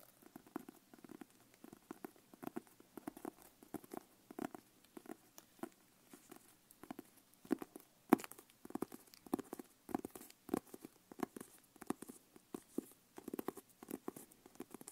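Long painted nails tap and scratch the leather cover of a closed, brown leather-covered notebook held upright in both hands. Dozens of soft, dull taps with low-mid body come in quick clusters, mixed with light scratching. The overall sound stays quiet, and each tap dies away almost instantly.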